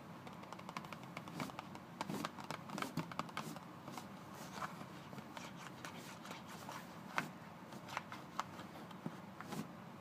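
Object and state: Cardboard toothpaste box.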